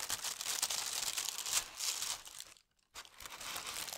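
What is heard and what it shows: Fingertips with long red nails smooth and press flat a large, thin, crinkly sheet of tissue paper printed with holly leaves and red berries, lying loosely on a table. The result is dense, bright, papery crinkling with almost no low end, broken by a brief silence before the crinkling resumes.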